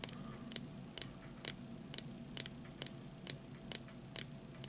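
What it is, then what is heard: Plastic disposable lighter tapped with fingernails. A small hollow plastic disposable lighter with a metal hood, held in the fingers, is tapped with fingertips and short nails, and is partly hidden by the hand at the end. Eleven short, sharp, bright clicks come at a loosely steady pace, each dying away almost instantly. Beneath them sits a faint low hum.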